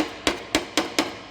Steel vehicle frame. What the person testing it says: you can tap on these, you can hear how thin this metal is they make these frames out of